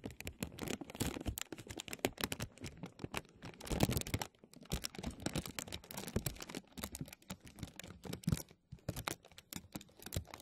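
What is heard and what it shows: Fingertips and nails tap, pinch and crinkle a thin, clear, embossed plastic vacuum-seal bag stretched over a mesh microphone dome. The result is a dense, steady stream of sharp crinkles and dry taps, with low thumps under bright plastic rustle. Brief pauses fall near the middle and end of the clip.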